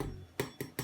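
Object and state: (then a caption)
Baked bread loaf sounds hollow (done). A homemade white bread loaf, turned out upside down, is tapped three times on its bottom, giving short, dull, hollow knocks. The hollow sound shows the loaf is cooked through.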